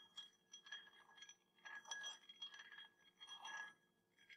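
A small, round, clear glass tumbler partly filled with water is tapped on the rim and side with a metal teaspoon held in the fingers, while a second glass stands untouched nearby. Repeated light, bright clinks ring briefly at a steady high tone around 1.7 kHz, with clusters of taps blending together.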